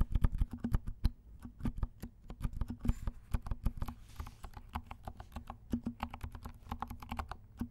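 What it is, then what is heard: Mechanical keyboard with silent switches. Both hands tap with their fingertips on a compact mechanical keyboard with black and pink plastic keycaps and silent switches. A quick, steady run of soft, muted keystrokes is heard, each a short, dull, low thud that dies away almost at once.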